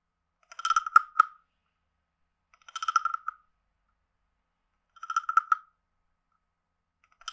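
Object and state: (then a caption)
Wooden frog guiro. A palm-sized, hollow, carved reddish-brown wooden frog guiro is held in the hand while a wooden stick alternately taps its head and scrapes its ridged back. The result is three short bursts of dry, woody clicks and ratchety rasps, centered on a hollow tone near 1.4 kHz with bright overtones, separated by silence. A fourth burst begins at the very end.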